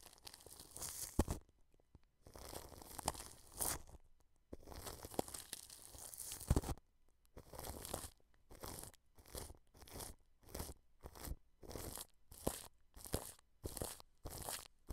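A wide, flat paintbrush presses and brushes across plastic cling film wrapped over a microphone, making crinkly, crunching, tearing-like rustles with a low rumble beneath. A few long, dense sweeps give way to a quicker run of short, separate brush strokes.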